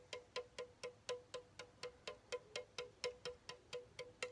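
A pink Chupa Chups soda can of hollow aluminum is tapped with the fingertips in a steady rhythm of about two taps per second, giving 18 short, bright metallic pings, each with a clear tone near 490 Hz that dies away quickly. Near the end the can is tilted to show its top.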